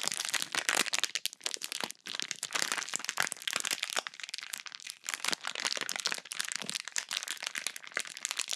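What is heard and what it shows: A small sealed clear plastic bag full of pink slime is squeezed and crumpled by fingers with long pink nails close to the microphone. Dense, bright crackling and crinkling runs steadily throughout, with brief dips and no low end.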